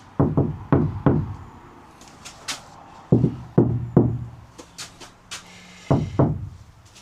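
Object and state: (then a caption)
Steel van panel damped by sound-deadening mat. Knuckles knock on the sheet steel side panel of a MAN TGE LWB campervan after a square of sound-deadening mat has been stuck in the middle of it and rolled down, to hear how much it dampens the panel. Nine heavy, low knocks land in small groups, with lighter, sharper taps in between. Each knock gives a dull thud centred around 125 Hz that dies away almost at once, with very little ring.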